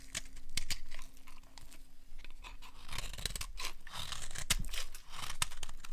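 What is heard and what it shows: A small metal blade scrapes and cuts crunchy flakes off the edge of a solid, partly carved bar of dry orange soap held in one hand. Quick, dry crunching and scraping strokes come close together in a brittle, crackling texture with short bright clicks as the flakes break away.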